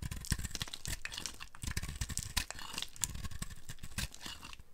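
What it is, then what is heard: Dry soap being carved. A dry, speckled multicolor soap ball is held and carved with a flat metal blade, breaking off crumbly flakes. Rapid dry scraping and crunching strokes run throughout, with bright crackle over a low thump.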